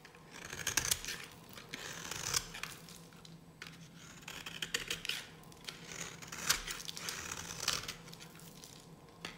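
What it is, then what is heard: Dry bar soap being cut. A metal blade scrapes and cuts into a solid, pale pink bar of dry soap held in the hand. It makes a series of crisp, bright scratching and crackling strokes with short pauses between them. Each stroke sheds a dry, crumbly rasp with a faint low hum underneath.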